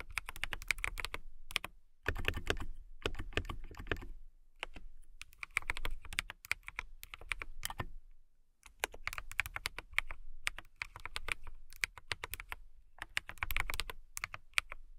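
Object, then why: Mechanical keyboard with clear plastic keycaps and case. Fingertips and long nails type on a compact transparent acrylic mechanical keyboard with clear plastic keycaps, a clear case and RGB lighting. Dense bursts of crisp, bright key clicks with a solid low thock run in quick runs separated by short pauses.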